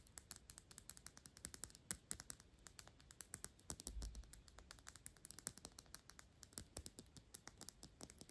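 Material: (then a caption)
Glass. A Byredo perfume bottle of thick clear glass, with a paper label and a black cap, is held in the hand and tapped quickly with long pink acrylic nails, then brought close to the face at the end. The result is a rapid, uneven stream of short, dry, bright clicks that stop at once with no ring, over a faint low rumble and a brief low thump midway.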